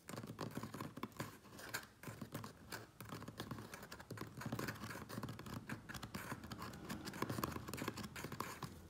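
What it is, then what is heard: Cardboard shipping box being scratched. Fingernails scratch quickly along the top edge and sides of a medium, closed, hollow corrugated cardboard Priority Mail box. The result is a dense, continuous run of rapid, dry scratches with a hollow, papery body and short, quick-decaying strokes.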